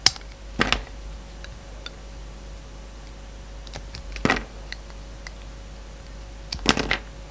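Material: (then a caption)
Soap. A yellow box cutter shaves and cuts a solid translucent orange bar of soap, making short, crisp, bright scraping bursts. The bursts come in separate clusters against quiet gaps with a faint steady hum underneath.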